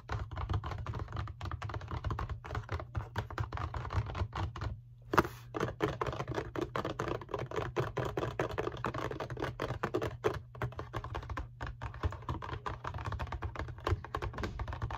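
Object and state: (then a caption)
Cardboard tissue box tapped. Long painted fingernails tap and scratch rapidly on the sides of a rectangular printed cardboard Kleenex tissue box, hollow with tissues inside. The result is a dense, steady run of short, dry clicks over a soft, hollow low thump, with a brief pause near five seconds before the tapping resumes.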